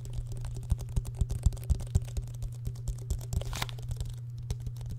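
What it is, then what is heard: Plastic water bottle. A small clear plastic water bottle with an orange-red plastic cap, held close to the microphone, is tapped and handled with the fingertips. Rapid, irregular, dry clicks and light crinkly taps sound over a steady low hum, with a brief brighter crinkle near the end.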